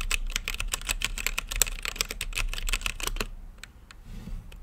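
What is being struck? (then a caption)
Mechanical keyboard with plastic keycaps. Fingertips type quickly on a mechanical keyboard with plastic keycaps and a clear acrylic lit case, producing a rapid stream of sharp, bright clacks with short, dry decays. The typing stops just after three seconds, leaving a couple of faint taps and quiet background hiss.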